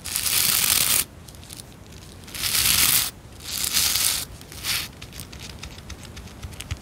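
Long nails scratch and strum through the bristle rows of a white plastic scrub brush. Bursts of bright, dry, raspy scratching rise and fall, separated by quieter stretches of fine crackly ticking.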